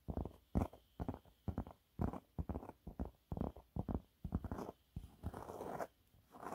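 Fingernails scratch a yellow waffle-textured cleaning cloth held in both hands, producing quiet, irregular bursts of soft, dry scratching and rustling. The scratches are short and uneven in rhythm, with most of their energy low and muffled. Near the end, they stretch into a longer, steadier rasp.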